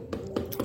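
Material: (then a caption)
Plaster. Another spot on a plastered masonry wall is knocked four times, giving dull, hollow-sounding taps with a low body around 220 Hz and a short ring. The plaster there is hollow behind the surface and will have to be torn out and redone at extra cost.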